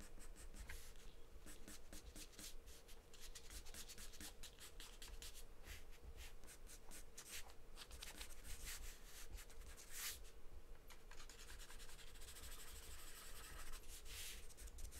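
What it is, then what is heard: Pencil drawing on paper. A wooden pencil scratches short strokes across a large white paper sheet taped flat on a table, making bright, dry rasps that come in quick bursts throughout. A steady low hum sits underneath the quiet scribbling.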